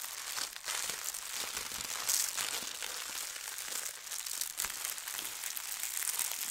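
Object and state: Tissue paper sheet being smoothed.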